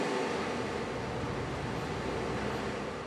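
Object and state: Nothing is struck.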